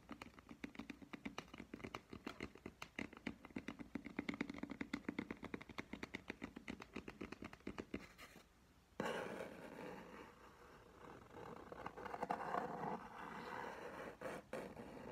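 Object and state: Paper coffee cup with plastic lid.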